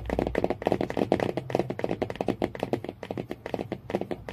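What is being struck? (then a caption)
Cardboard hardcover book cover. Fingernails tap quickly near the spine of a hardcover book with a cardboard cover. About two dozen short, dull knocks follow one another in a rapid, uneven stream. Each knock has a midrange body, almost no bright top and no ring.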